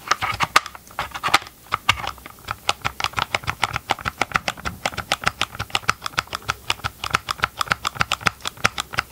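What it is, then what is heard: Plastic chainsaw housing tapped. Gloved fingertips tap rapidly on the green and grey hard plastic hollow housing of a Ryobi chainsaw held near the mic. The result is a quick, steady run of short, dry plastic clicks with a hollow midrange tone and a bright edge, each dying away almost at once.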